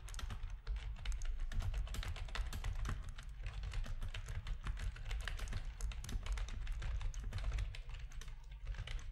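Fingertips of both hands type rapidly on the keys of a full-size black plastic RGB-backlit keyboard with a hollow plastic housing, resting on a desk. A dense, continuous stream of short, dry clicks and taps rides over a heavy low thump, with bright key-click edges that die away almost instantly.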